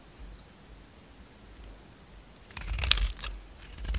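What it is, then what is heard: Bar of soap being carved. A utility knife blade scrapes and carves shavings off a solid pink bar of soap with a dark red rim, held in the hand. After a near-silent first two and a half seconds, crisp, bright scraping and crunching bursts build up, the loudest around the three-second mark, and continue to the end.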